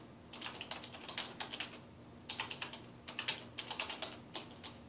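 Fingertips type on a dark plastic desktop keyboard resting on a wooden desk, tapping keys in quick, bright plastic clicks. The clicks come in two bursts with a brief lull near the middle, each tap short and dry over a faint steady low hum.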